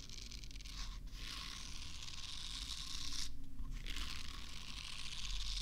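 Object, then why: Soft silicone facial cleansing brush. A small, solid, pink soft silicone facial cleansing brush is held near a microphone and moved from the left side to the right. Fingernails scratch and rub across its silicone bristle surface, making a continuous bright, crackly scratching and tearing sound. The sound drops out briefly twice before resuming.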